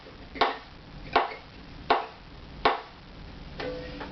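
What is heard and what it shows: A wooden violin part is tapped five times with a sound post tool, the tapper dropped and left to bounce, to hear its tap tone before comparing it against a reference tool. Each tap is a short, dry knock centred around 690 Hz that dies away in about a tenth of a second, spaced at a steady, unhurried pace. The fifth tap rings with a clearer, more pitched tone.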